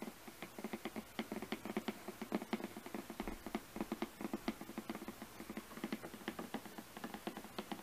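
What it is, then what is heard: Cardboard box tapped with fingernails. Fingernails tap and scratch the top surface of a glossy printed cardboard product box, making about 31 quick, dry taps with almost no ring. The taps have a hollow, papery tone centred around 210 Hz, and a soft scratchy patter fills the gaps between them.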